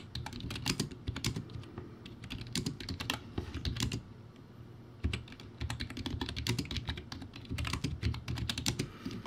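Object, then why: Plastic keyboard with round keycaps. Fast two-hand fingertip typing on a crappy plastic typewriter-style keyboard, a backlit board with round white plastic keycaps. A dense, continuous clatter of short, clicky key hits with a low thocky body and bright tops. It eases into a lighter patch around the middle before picking back up with a sharp hit and finishing strong.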